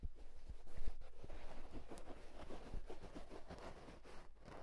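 Fingertips and short nails scratch and rub the fabric crown of a soft houndstooth wool tweed fedora-style hat, hollow and empty and held in hand. The result is a steady, muffled, low rustling texture with dull thumps, fairly quiet throughout.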